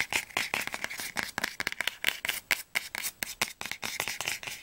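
Fingernails tap and scratch rapidly along the glossy spine of a solid orange hardcover book, "Flammender Zorn," held sideways. The result is a fast, uneven run of short, dry, clicky taps mixed with light scratching, bright and crisp with a strong tone around 2 kHz and almost no low end.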